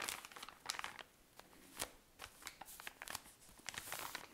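A tall cylinder of cotton pads in thin plastic wrapping is squeezed and scratched with long nails to make crinkles. Quiet, bright crinkling and scratchy crackles come in a rapid, uneven run of short bursts with almost no low end, each snapping off at once.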